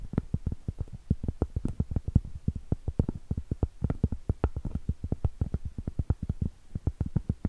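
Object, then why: Cork trivet tapped with fingernails. Long pointed acrylic nail tips tap and scratch the surface of a round, solid cork trivet. A quick, steady run of dull, low, muffled clicks, each one short and dry with almost no ring and very little bright edge.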